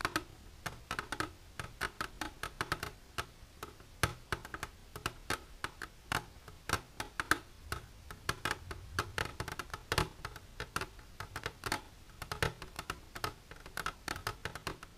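Long silver nails tap rapidly and irregularly on the sides of an empty, transparent hard plastic container standing upright. The sound is a steady stream of short, dry, bright clicks that die away almost instantly.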